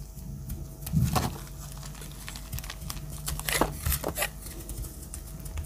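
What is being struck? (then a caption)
Soap bar shaved with a metal blade. A metal utility-knife blade shaves dry curls off the edge of a pale yellow solid soap bar held in the hand. Crisp, crinkly scraping strokes with bright, papery edges come and go over a steady low hum.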